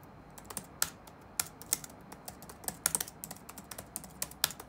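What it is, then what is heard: Plastic laptop keyboard. Fingertips tap rapidly on the black plastic keys of an open laptop resting on a wooden desk. About 18 sharp, bright clicks come at an uneven pace, each ending almost instantly, over a quiet background.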